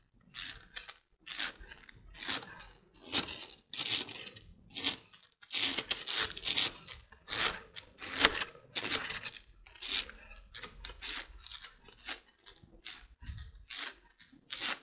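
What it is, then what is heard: Plastic coil spring. A large rainbow plastic slinky coil spring is held in both hands while the fingers stretch, rub and flick its coils so they brush and clack together. The result is an irregular run of bright, crinkly rustling bursts with short, dry clicks, with almost no low end and no lingering ring.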